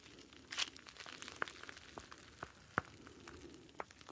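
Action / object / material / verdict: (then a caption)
shake / plastic pouch of gel beads / plastic / none. A star-shaped clear plastic gel bead ice pack filled with blue gel beads is squeezed with the fingertips close to the mic. It gives a soft, continuous crinkling and squishing with sharp, bright clicks and crackles scattered irregularly throughout.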